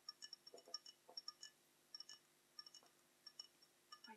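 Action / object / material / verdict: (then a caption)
tap / glass goblet / glass / none. Long nails tap the bowl of a small, hollow, dark tinted glass goblet held near the chest; the goblet looks empty. The taps come as an irregular series of quiet, high, bright clinks with very short ring.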